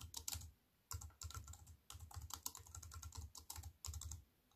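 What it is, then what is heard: Plastic computer keyboard. Fingertips and long white-painted nails tap and type on a compact wireless keyboard with black plastic keys on a grey metal-look frame, lying flat on a wooden table. Quick bursts of crisp, bright key clicks over soft low thumps come in short runs with brief pauses between them.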